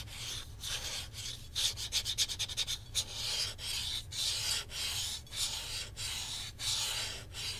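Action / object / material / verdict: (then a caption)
scrape / plastic game controller grip / plastic / none. Fingertips and nails rub and scratch along the handles of a hollow black plastic Nintendo Switch controller grip with red and blue Joy-Cons attached, as it is held up and turned to show the back. Bright, hissy rubbing strokes come in waves, with a quick run of sharp scratching flicks in the middle, and each stroke fades quickly.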